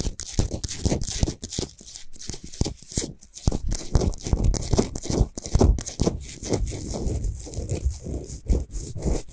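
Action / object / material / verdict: scrape / rock salt globe lamp / rock salt / none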